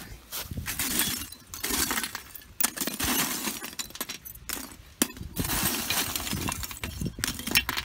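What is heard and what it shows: Pieces of wood biochar from a first homemade batch, just taken from the kiln, are snapped and handled, giving bright, glassy clinks and crisp cracks with very short ring over rustling handling noise. The glass-like sound shows the charcoal is fully charred rather than crumbling like unfinished material, marking the batch a success.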